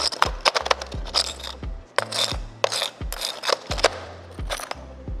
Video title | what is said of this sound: 1000만원 아낄수 있는 방법!! 디젤차 오너라면 무조건 알고 있어야할 상식!! | 소리가 나죠 단단합니다 벽돌 같은 구조로 생겼어요